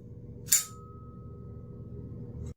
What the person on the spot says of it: it's got an awesome ting